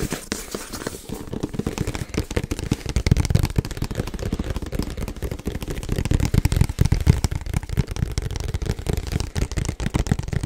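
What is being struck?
Printed cardboard box.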